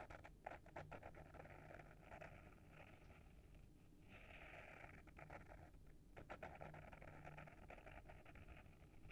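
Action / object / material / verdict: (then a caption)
scrape / paper-wrapped hardcover book / paper, board / none. Short fingernails scratch the front cover of a small, solid hardcover book with a paper-wrapped board cover, held in hand. The scratching is quiet and dry, a steady stream of rapid, rough strokes with brief papery ticks over a low background rumble. It eases off around the middle before picking up again.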